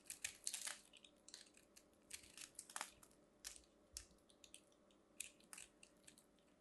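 A metal craft knife carves and scrapes a small purple ball of compressed soap shavings, solid and crumbly and held in the fingers, cutting off crunchy flakes. Quiet, bright, crisp crunches and scraping crackles come in short irregular bursts, each dying away almost instantly, with very little low end.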